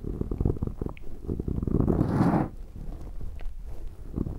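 Latex-gloved fingertips on both sides rub and massage a black round foam windscreen on a handheld recorder. This produces a deep, muffled scratching and crackling that swells into a louder, fuller rustle in the middle before easing back to soft, low rubbing.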